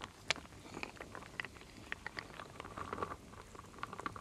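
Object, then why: Wooden beads and acorn pieces in a wooden bowl. A wooden spoon, held with long nails, stirs solid wooden beads, acorns and leaf shapes in a full wooden bowl. It makes a quiet, steady stream of dry clicks and clacks, with a sharper knock near the start and brighter ticks scattered throughout. Each tap stops instantly, with no ring.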